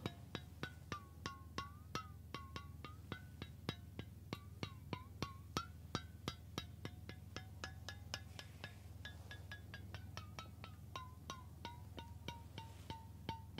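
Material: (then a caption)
Stainless steel. A hollow stainless steel water bottle is held up close and tapped repeatedly with the fingertips and nails of one hand in a quick, uneven run of taps. Each tap gives a short, resonant metallic ping whose ringing tone shifts slightly in pitch from tap to tap, over a steady low hum.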